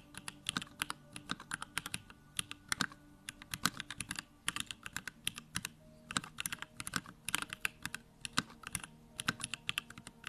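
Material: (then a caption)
Plastic. A compact Bakeneko65 mechanical keyboard with Durock Lavender switches and plastic keycaps is typed on continuously and quickly with the fingertips. The result is a steady stream of sharp, bright, clacky keystrokes with very short decay, heard over a faint low steady hum.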